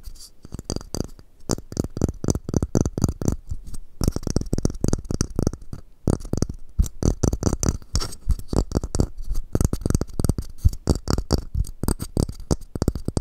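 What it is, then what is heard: Wooden masu box. Fingertips tap and scratch the sides of a small, square, hollow, empty wooden masu cup held in both hands. The result is a steady run of quick, dull, low knocks with almost no ring, mixed with faint bright scratching and brief pauses near the 4 and 6 second marks.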